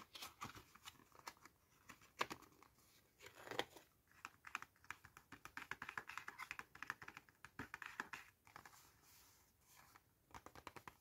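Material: Cardboard.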